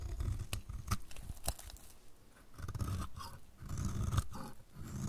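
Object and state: Dry soap bar scraped with a blade.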